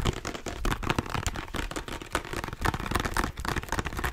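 Fingertips and nails tap and scratch quickly and firmly on a small hollow plastic squeeze bottle of body lotion held in both hands. Dense, uneven hollow plastic taps with a low, thumpy body mix with crackly scratching, with no pauses throughout.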